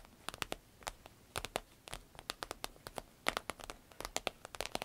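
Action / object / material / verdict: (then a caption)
tap / vinyl-coated fabric purse / vinyl / none. Long red nails scratch and tap the glossy vinyl flap of a soft, hollow green paisley purse made of vinyl-coated fabric. The result is a quick, irregular run of dry, bright clicks and short scratches, each one dying away almost instantly over a faint hiss.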